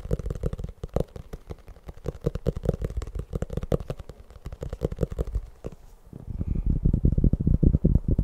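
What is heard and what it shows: A fast, uneven flurry of soft, thuddy taps mixed with brushing scratches, each dying almost instantly. The sound is low and muffled, typical of fingertips and nails on a soft paper cover over a stack of pages, which damps any ring.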